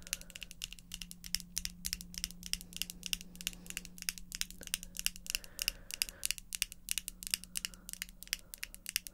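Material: Acrylic.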